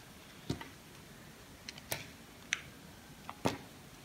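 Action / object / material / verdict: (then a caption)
scrape / bar of soap shaved with a knife / soap / none. A knife blade shaves thin slices off a solid pink bar of soap held in the hand. Eight short, crisp, bright cracks sound at irregular intervals over a quiet background, each dying away almost instantly.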